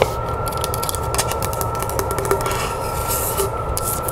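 Long nails tap quickly on the wooden lid and sides of a hollow box made from a section of tree log, producing a rapid run of light, dry clicks and scratchy ticks. A faint steady tone hums underneath throughout.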